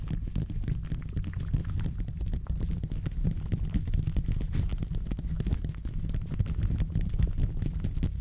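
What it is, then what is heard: Metal microphone grille scratched. Black-and-grey textured gloved fingertips scratch and rub the hollow metal mesh grille of a silver condenser microphone held in a stand. The result is a steady, dense, low rumbling scrape with quick crackling ticks, almost all of its energy deep in the bass and almost none in the high range.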